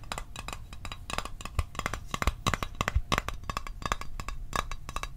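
Fingernails tap a small, hollow, closed blue Altoids metal tin held above the microphone. The taps are quick and irregular: short, dry clicks with a light tinny ring near 1 kHz and a soft low thump underneath. Each tap dies away almost at once.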